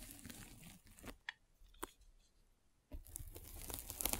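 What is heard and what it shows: A metal-spiked derma roller is rolled over a white polyethylene foam mesh net stretched over a microphone. It makes close, crinkly crunching and scratching with a low rumble and bright crackles. A quieter stretch with a couple of sharp ticks gives way to louder, denser crackling rolling.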